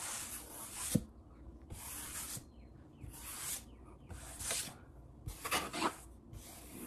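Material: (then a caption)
Wood. A palm rubs quickly across a large, solid wood-grain tabletop, making repeated bursts of bright, dry swishing that start and stop. Fingertips tap the surface in between, giving short, sharp knocks with no ring.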